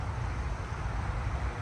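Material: Nothing is struck.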